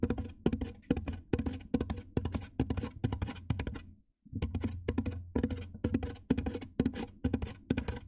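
Fingertips with painted nails tap on the top surface of a large white hollow styrofoam box, producing quick, dull, hollow thunks with a low resonant body and almost no ring. The taps come in rapid, uneven clusters, with a brief silent pause near the middle before the tapping resumes.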